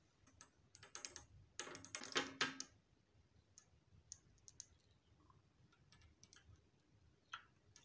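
A glass dropper pipette is dipped into a small clear glass bottle of orange serum, then tapped and clicked against the bottle rim while fingertips squeeze the rubber bulb. Quiet, bright glassy clicks and taps build into a dense cluster of louder clinks and rattles early on, then thin out into sparse, light ticks that die away almost instantly.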